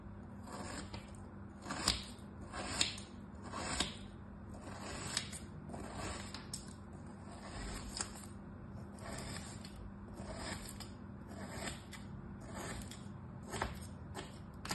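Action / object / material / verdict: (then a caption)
scrape / moulded kinetic sand cut with a thin blade / kinetic sand / none. A thin knife blade slices repeated parallel cuts through a molded turtle shape of solid kinetic sand lying on a striped cloth, so the sand crumbles into strips. Each cut gives a soft, gritty crunch and scrape with a brief bright edge, over a quiet steady low hum.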